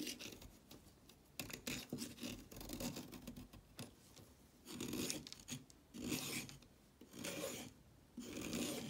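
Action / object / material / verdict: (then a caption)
scrape / orange chalk stick scraped with a blade / chalk / none. A red-handled blade rasps and scrapes along a solid orange chalk stick held over a pile of shavings. Dry, gritty scraping strokes come in uneven bursts, bright and hissy with a soft low crumble beneath. Quieter pauses fall between the strokes.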